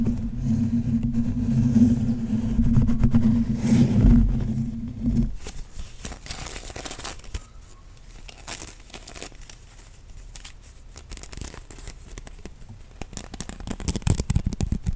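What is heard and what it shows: A rectangular bamboo sushi mat of thin slats is held in both hands close to the mic and flexed, rolled and scratched with fingertips and nails, giving rapid clicking and crinkly scratching from the slats. For the first five seconds a loud low hum sits under the handling, then it cuts off, leaving quieter, dense clicks and scrapes that grow louder and brighter near the end.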